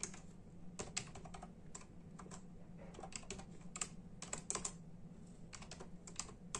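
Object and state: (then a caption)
Plastic computer keyboard being typed on. Fast, dense typing with the bare fingertips of both hands on a full-size black and silver plastic membrane keyboard with hollow keys. The keys give short, sharp, bright clacks that die away almost at once, over a steady low hum.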